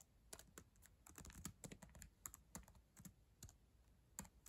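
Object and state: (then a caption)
Plastic laptop keyboard being typed on. Long acrylic nails and fingertips type on the plastic keys of a black ThinkPad laptop keyboard. Quick, irregular clicks and taps with bright, sharp tops and a soft low thud beneath them each die away almost instantly.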